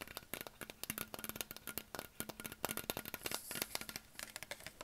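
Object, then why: Plastic water bottle. A hollow green Perrier PET plastic sparkling water bottle is tapped rapidly with fingertips and short nails on its neck and label. The result is a fast, irregular stream of dry, crinkly clicks and light plastic rattles with a bright edge, each dying away almost instantly over a faint hollow tone.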